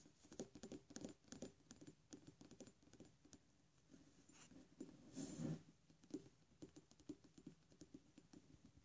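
A thick glass Iroshizuku take-sumi ink bottle, about 50 ml, full of dark ink and with a black cap, is held in the hand and tapped rapidly with fingernails. The result is a quick, uneven patter of short, light clicks with a dull low glassy body and brief high ticks. A denser, louder flurry of taps comes just past the middle.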